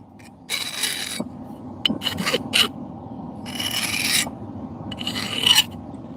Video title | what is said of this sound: FORGING IN A SNOWSTORM | It doesn't want to dig into the steel as much cuz this is hard